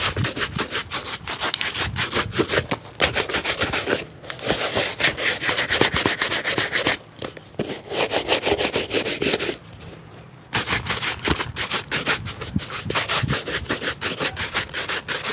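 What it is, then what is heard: Leather shoe being brushed. A dark leather shoe, hollow and empty, is held in the lap and briefly set on a mat while it is brushed vigorously with a wooden-backed bristle shoe brush. The rapid back-and-forth strokes make a bright, scratchy rubbing rhythm that continues throughout, with a few brief pauses and one quieter gap of about a second near the middle.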